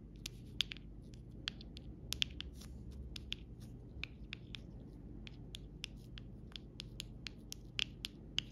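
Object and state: Plastic rhinestone sticker sheet.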